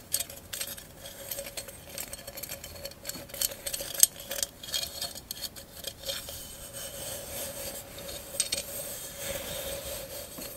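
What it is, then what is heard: Mirror mosaic glass candle holder. A hollow glass candle holder covered in mirror mosaic tiles is rubbed and scratched with long acrylic nails across the tiles. Bright, raspy scraping and sharp ticking clicks move over the tiles, with a faint steady hum underneath.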